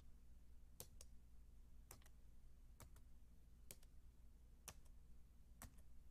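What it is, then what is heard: Plastic and aluminium computer keyboard. Fingertips with long, dark-painted nails type on a solid, white, low-profile Apple keyboard about 28 cm wide, with plastic keys on a thin aluminium base. Sharp, bright key clicks come in evenly spaced pairs, each a main tap followed by a softer one, decaying almost instantly. They sit over a quiet, steady low hum.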